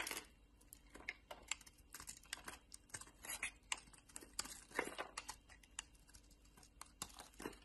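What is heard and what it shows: A palm-sized, solid pink oval Linda bar soap, held in the hand, is scraped and carved with a metal utility-knife blade as shavings fall away. The result is a quiet run of quick, dry, crisp scrapes and light crackling clicks, bright and thin with almost no low end, each one ending abruptly.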